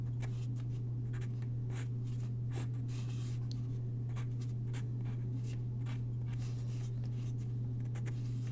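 A graphite pencil sketches on a single white paper sheet lying on a wooden desk, its tip scratching across the paper. Short, bright scratchy strokes come and go over a steady, loud low hum that runs through the whole clip.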